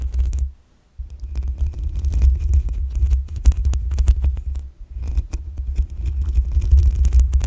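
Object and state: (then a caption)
Metal microphone mesh grille. Long acrylic nails scratch and tap the black metal mesh grille on top of a desktop USB condenser microphone's hollow head. The result is a deep, booming low thump and rumble with rapid, irregular taps and bright, crackly scratching ticks above it. The sound drops to near silence briefly around the first second and again just before the fifth.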